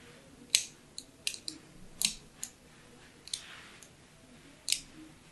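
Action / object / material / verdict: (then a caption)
scrape / solid soap bar / soap / none. A thin pointed tool scratches fine parallel lines into the surface of a hand-held pink solid soap bar embossed "Absolut." Eight short, bright, crisp scraping clicks come at irregular intervals, each dying away almost at once over a quiet, faint background.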